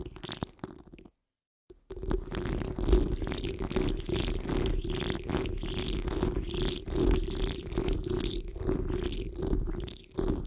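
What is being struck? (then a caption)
Metal wire-mesh microphone grille. Long nails and fingertips of both hands scratch across the top of a hollow metal wire-mesh microphone grille, producing a dense, continuous rumbling scrape heavy in low frequencies with a steady tonal hum underneath. After a brief silent gap near the start, the scratching resumes and runs unbroken, with irregular swells in loudness.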